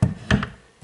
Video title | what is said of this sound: Godzilla 1962 NECA figure - Review | almost look like they are made from wood as you tap it a little bit